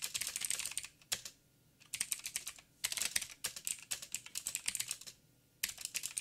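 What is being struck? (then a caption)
Mechanical keyboard with plastic keycaps. Fingertips of both hands type on a backlit mechanical keyboard with plastic keycaps and blue clicky switches. Quick bursts of sharp, bright clicks come in runs, broken by two short pauses of near-silence, with each click ending almost instantly.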